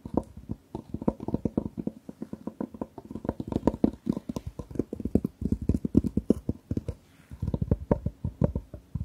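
Long nails rapidly tap and scratch the lid of a long, closed, hard jewellery case covered in patterned fabric, held horizontally. The result is a quick, steady stream of dry, muffled taps with a low-mid knocking tone and almost no ring. There is a brief pause near the seven-second mark before the tapping resumes.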